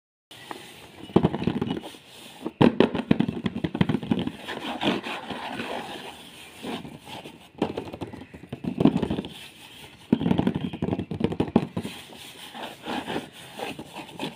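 Both hands scratch and tap with fingertips and short nails on the ribbed top of a large, hollow, closed corrugated cardboard toy box with a printed red and white "A.R Collection" design, lying flat on a cloth. Dense bursts of dry, rapid scratching and tapping come in waves with brief quieter gaps between them. Each burst carries a hollow, mid-low papery thump beneath the rough scraping texture.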